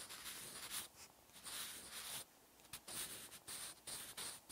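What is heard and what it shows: A wooden graphite pencil held in the fingertips writes Korean text on a thin white page of an open paper notebook resting on a solid backing. The tip makes soft, bright scratching strokes in uneven bursts, with short quiet pauses between them.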